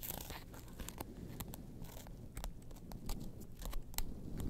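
Long nails scratch and tap the orange faux leather interior and ID window of an opened small wallet. Soft, crunchy scratching is broken by short, sharp taps that flash bright, over a steady low hum.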